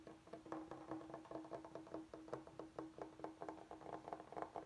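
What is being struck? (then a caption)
Bamboo cutting board. Fingertips and nails tap and scratch the surface of a large, flat, solid bamboo chopping board held upright. A quick, steady run of dry, woody taps with very short decay sits mostly in the midrange around 1 kHz, over a faint sustained tone near 330 Hz and a soft scratchy texture between taps.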